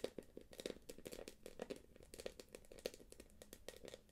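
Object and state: Quilted plastic purse.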